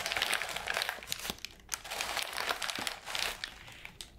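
A ball of light wrapping paper is squeezed, crinkled and scratched with fingers and nails. Dense, bright crackling crinkles come in surging bursts, easing briefly around the middle and fading quieter toward the end.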